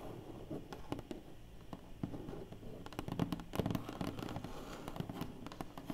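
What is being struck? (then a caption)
Large flat cardboard box lid. Long painted fingernails scratch and tap across the closed lid of a large, flat, hollow black cardboard box. The quiet, dull taps are short and sharp, with no ring, over a soft, continuous scratching rasp. The sound sits mostly in the low and mid range with little high-end content.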